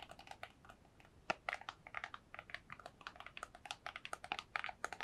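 A small, hollow, white printed cardboard box, held in both hands close to the mic, is rapidly tapped with long nails. A quick, uneven run of dry, crisp clicks follows, with a light hollow mid-range knock and a bright edge, and each tap dies away instantly with almost no low end.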